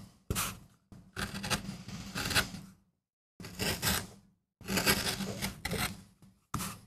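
A wooden-handled steel tool gouges and scrapes a small, flat, solid MDF relief printing block carved with a rose while fingertips hold it steady. Short and long bursts of dry, raspy scraping and rubbing carry bright, hissy detail over a low buzzing undertone, separated by brief silences.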